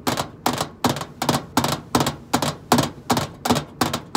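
Long acrylic nails tap on the flat side panel of a hollow stainless steel microwave casing. Quick, bright clicking bursts repeat at a steady, slightly uneven pace, each with a short hollow ring over a low-mid tone.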